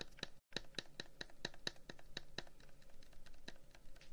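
A long, hollow wooden incense box with carved flower-pattern holes is held in one hand and tapped and scratched with the fingertips of the other. A series of short, crisp taps with a bright, woody click near 3.9 kHz stands out over a soft, continuous scratching texture. A brief silent gap falls near the start, and each tap dies away almost instantly.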